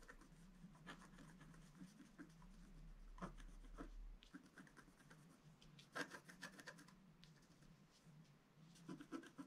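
A pointed wooden stylus scratches short strokes into a letter-size sheet of black wax-coated scratch art paper with a rainbow layer underneath, lying flat on a table. The result is a quiet, dry scratching and rubbing with a steady low hum under the first four seconds. A few sharper, louder strokes stand out near 3, 6 and 9 seconds.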